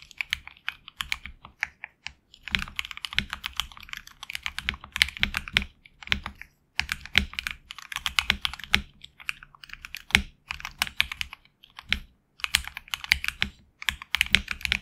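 Fingertips type in quick bursts on a HyperX Alloy Origins Core mechanical keyboard with HX Red switches and backlit black and red PBT keycaps, captured in side close-up. Each keystroke gives a crisp, bright clack that dies away almost instantly, with little low end. The bursts of fast typing are broken by brief pauses.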